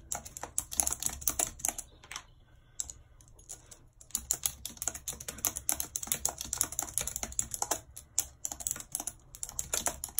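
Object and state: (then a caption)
Plastic computer keyboard being typed on. Long red nails tap the keys of a white plastic computer keyboard in continuous typing. The clicks are bright and sharp with a very short ring, coming in quick bursts with a brief pause near the two-to-four-second mark.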